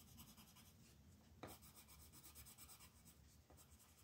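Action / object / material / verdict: scrape / colored pencil on a paper coloring page / paper / none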